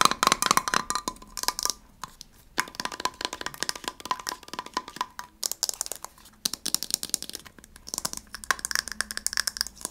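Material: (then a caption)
Metal. A small gold heart-shaped metal tin is tapped with fingernails on its lid and side. The result is a rapid, uneven patter of sharp, bright clicks with a faint metallic ring near 1.1 kHz, broken by short pauses.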